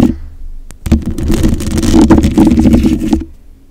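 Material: Metal mesh.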